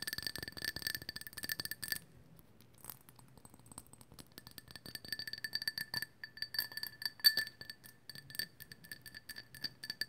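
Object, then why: Small hollow glazed ceramic figurine. Long acrylic nails tap and scratch the glossy surface of a small, hollow, glazed ceramic owl figurine in pale orange with white painted dots. Rapid, bright, glassy clicks and clinks carry a steady high ringing tone. The tapping goes quiet for about a second after the two-second mark, then resumes in dense bursts.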